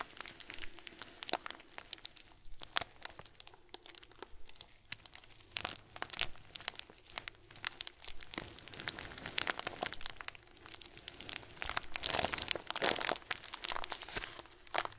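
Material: Plastic.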